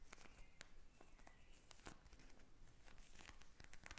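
Long nails tap and scratch quickly on a pink plastic eye mask filled with gel beads, lying flat. The result is a quiet, steady stream of sharp, crisp clicks over a scratchy, crinkling texture.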